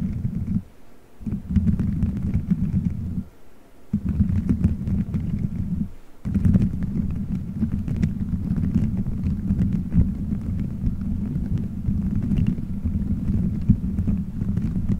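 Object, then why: Gelatin gummy bears stuck on a microphone head. Fingertips squeeze, rub and scratch colorful gelatin gummy bears stuck all over a microphone head in a solid dome shape. The result is a dense, muffled, low rumbling squish centered around 100 Hz with little high end, broken by brief quiet gaps near 1, 3.5 and 6 seconds.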